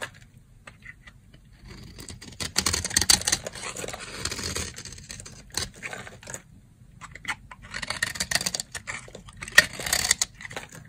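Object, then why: Bar of soap shaved with a blade. A box-cutter blade shaves fine curls from the edge of a solid, dry brown soap bar held in the hand. The result is crisp, bright scraping and crackling in two dense bursts, separated by a brief quieter pause, with a faint low hum underneath.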